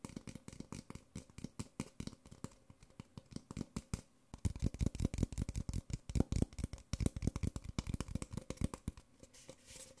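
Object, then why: Small disposable paper cup. Fingertips and nails rapidly tap and scratch along the printed side of a small, hollow, empty white disposable paper Nespresso coffee cup held in the hands. The dense run of short, dry, hollow taps is mostly low and dull, with a brief lull around the four-second mark before the tapping resumes louder and busier.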